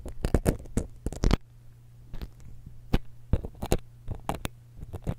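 A thin steel dental pick scratches the metal capsule and grille of a small silver X/Y stereo microphone held steady in one hand. Quick, bright scratching and scraping bursts come in uneven clusters with short quiet gaps. A steady low hum runs underneath the whole time.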